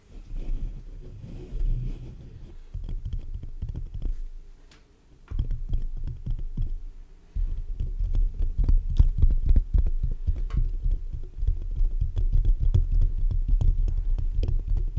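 Short fingernails on both hands scratch fast across the black metal mesh grille of a large hollow condenser microphone. The result is a dense, deep, boomy rumble, thick with quick scratchy clicks, that comes in uneven bursts and briefly drops away before swelling back louder.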